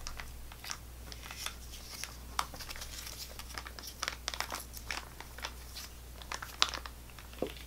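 A full-looking GoGo Squeez apple sauce pouch made of laminated plastic foil is tapped and scratched with long fingernails and squeezed between both hands. It gives off bright, crisp crinkles and sharp clicks over a steady low hum. The taps are irregular and quick-decaying, with a few louder snaps standing out.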